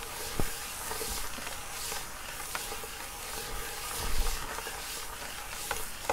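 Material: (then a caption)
Wood. Fingertips and short nails of both hands scratch and rub across the grain of a flat wood-grain school desk top, a large solid panel. A steady, soft, bright scratching hiss continues throughout, with a few sharper clicks and low thumps standing out.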